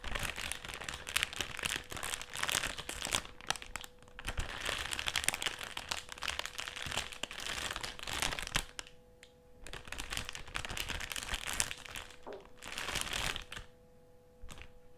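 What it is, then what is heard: Metallised plastic crisp packet. Fingertips of both hands scratch and press a partly full, black, foil-lined metallised plastic crisp packet lying flat on a table. The result is dense, bright crinkling and crackling with short quieter gaps around 9 and 12 seconds, over a faint steady hum.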